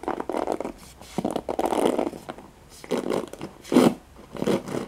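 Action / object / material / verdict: scrape / plastic paddle hairbrush with nylon bristles / plastic, nylon / none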